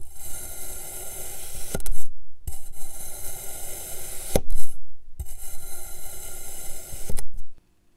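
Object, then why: Kinetic sand cylinder cut with a metal knife. A metal knife slices a solid green kinetic sand cylinder into thin discs on a blue surface, scraping and rasping through the packed sand. Three long, bright, gritty rasps are heard, separated by brief silences, each ending with a soft tap as the blade comes through.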